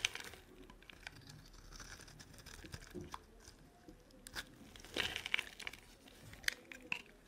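A metal blade cuts and scrapes chunks off a solid, rectangular, dry green-and-white striped soap bar held in the hand. The result is a steady run of crisp, bright scraping and crunching with short tearing crackles, growing sharper and louder in the later cuts.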